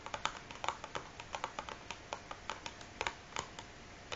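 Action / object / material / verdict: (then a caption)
tap / closed cardboard matchbox full of matches / cardboard / none. Fingernails from both hands tap quickly on the top of a large, closed, hollow cardboard matchbox filled with matches, resting on a wooden table. About 22 crisp, dry clicks land in an uneven, rapid patter, each with a hollow papery knock centered near 940 Hz and a bright edge. Every tap dies away almost instantly, with very little low end.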